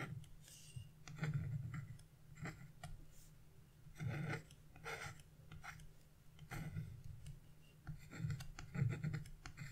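A chisel tip scratches small strokes into the black coating of wax-coated scratch-art paper near a bird's wing, flaking off debris. Quiet, close scratchy bursts come in irregular clusters, with bright rasping edges over a steady low rumble.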